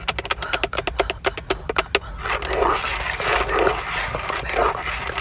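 Long acrylic nails tap and scratch across the centre of a Toyota steering wheel: a hollow-sounding, fixed, textured plastic airbag cover with a chrome emblem, ringed by a leather-wrapped rim. A quick run of sharp, clicky taps over about two seconds gives way to continuous rasping scratches across the hub and logo.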